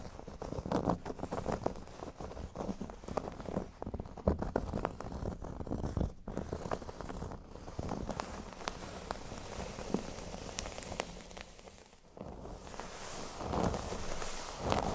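Fingernails of both hands scratch and tap across the surface of a flat, thin, solid cork board lying on a table. The result is a dense, dry patter of soft taps and scratchy rustling, weighted toward the low end with very short decay. The sound dips briefly near twelve seconds before the scratching swells again toward the end.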